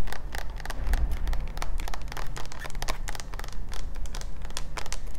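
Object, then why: Plastic jar full of coconut oil. Fingertips and nails scratch and tap the side and label of a large, clear plastic Kirkland coconut oil jar with an orange lid, full of white oil and held in the hands. Quick, crisp clicks and scratchy ticks come in a fast, uneven stream over a constant deep low rumble.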